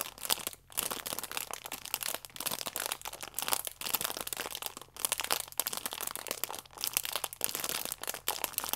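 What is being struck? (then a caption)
Stack of sachets in plastic film. A flat, plastic-wrapped stack of yeast sachets is held in both hands while nails scratch and thumbs squeeze the plastic film. The result is continuous bright, crisp crinkling and crackling in dense bursts, broken by brief pauses, with almost no low end.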